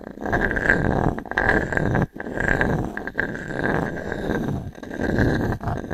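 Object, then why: Pine wood slice coaster rubbed with a small wooden cube. A small wooden cube, held in the fingers, is rubbed and scratched across the ring-grain surface of a solid, round natural pine log-slice coaster with a bark edge, resting in the other palm. The result is a dense, continuous wooden scraping and rasping with a steady mid-pitched whine running through it. There are brief breaks just after two and three seconds.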